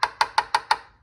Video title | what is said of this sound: Damage progress of front right subframe mount | it's sort of hollow and it is hollow. That's the cavity.